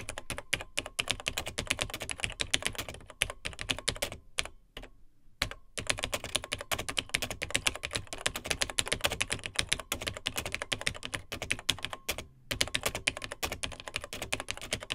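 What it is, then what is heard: Plastic vintage laptop keyboard being typed on. A Tandy TRS-80 Model 100, a beige plastic vintage portable computer with dark plastic keys, is typed on with the fingertips of both hands. Fast, bright plastic key clicks and clacks run almost continuously with very short decays. Brief pauses break the typing near 4.5–5.5 s and around 12 s.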